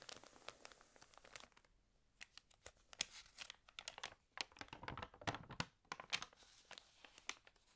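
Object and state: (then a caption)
Water-damaged glossy magazine pages. Fingers rub and turn the pages of an open, water-damaged glossy paper fashion magazine. Irregular bursts of bright, dry crinkling and crackling come and go, with brief quiet pauses between page movements.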